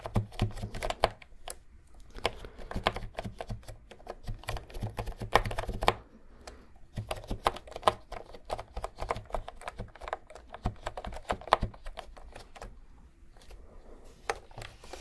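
Fingertips press and click the round keycaps of a pink and cream retro plastic keyboard held upright near the microphone. The sound is a steady stream of quick, dry plastic clacks with a soft low thump beneath them and almost no ring. There is a brief pause around six seconds before the typing resumes.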